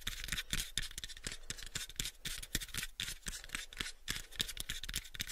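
A hollow, pale, unfinished small wooden box is held in both hands while fingernails scratch across its faces. The result is a quick run of crisp, bright, rasping strokes, each one short and dry with almost no ring, over faint low thumps from the hollow body.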